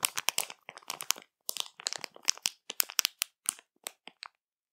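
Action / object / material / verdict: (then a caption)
scrape / plastic bag / plastic / none. Long matte nails scratch and press a full, printed plastic marshmallow bag, making dense bursts of crisp, high crinkling and crackling. The sharp, dry rustles come in quick clusters separated by brief silences.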